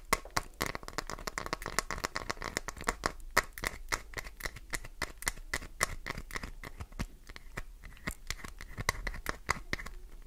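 Long nails rapidly jab and scrape the top edge of a solid green glycerin soap bar, sending flakes flying. A fast, uneven stream of sharp, bright clicks and short scratchy rasps runs throughout, with a faint tonal band near 2 kHz and very little ring after each hit.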